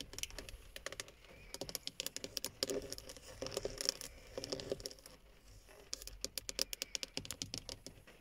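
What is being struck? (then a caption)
Plastic steering wheel hub cover. Long fingernails tap on a hollow black plastic steering wheel hub cover surrounding a chrome emblem. The result is a quiet run of quick, bright, clicky taps with a faint hollow knock underneath, coming in bursts of rapid tapping with brief pauses between.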